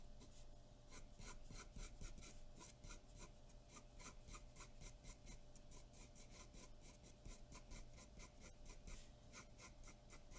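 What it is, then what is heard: Pencil shading on drawing paper. A graphite pencil is stroked repeatedly across a large white sheet of drawing paper taped flat on a dark board, shading with a scratching, rubbing action. Quick, uneven bright rasping strokes repeat steadily over a low, constant background hum.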